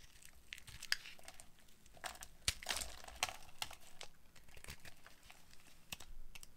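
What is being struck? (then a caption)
Bar of soap carved with a metal blade. A metal utility-knife blade carves a solid oval bar of dried pink soap held in the hand, shaving it into crunchy flakes and curls. A quick, irregular series of dry, bright crackles and crunchy scrapes sounds at a quiet level, each snap dying away almost at once.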